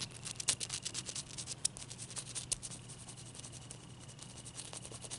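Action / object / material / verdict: scrape / large ice cube / ice / none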